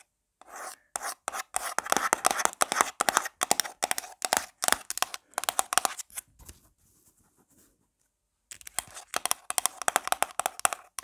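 A small round black plastic jar of got2b forming paste, likely full and held in the hand, has its lid scratched and tapped fast by long black nails. Dense bursts of sharp, dry clicks and scraping rasps, centered around 1 kHz with bright crackle above, break off into a brief quiet stretch before the rapid tapping resumes.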